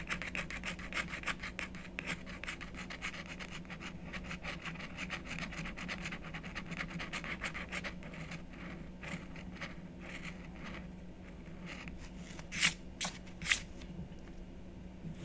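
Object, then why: Coated scratch-art card scratched with a wooden stylus. A black-coated scratch-art card is held flat with the left hand while the right hand scratches it with a wooden stylus in continuous strokes. Dense, rapid, bright raspy scratching fills the first half over a steady low hum, then the strokes thin out and become sparser. Two sharper, louder scrapes stand out near the end.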